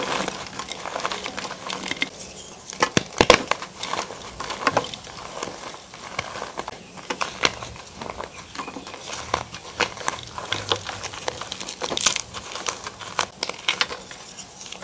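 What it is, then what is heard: Crumbling gym chalk. Bare hands squeeze, crush and rub crumbled white gym chalk chunks, with a bit of pink, and loose powder between the fingers in a tray. The result is dry, bright crunching and crinkly crackling, with sharp snaps that die away almost at once over a soft, steady crumble and almost no low end.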